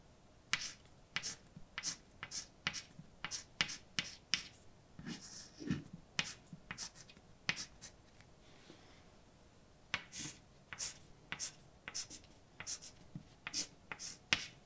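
A white chalk stick held in the fingers writes a poem on a large, dark, wall-mounted chalkboard with a flat, solid surface. About thirty sharp, bright clicks and short scratchy strokes come in quick bursts, with a brief quiet pause near the middle before the writing resumes.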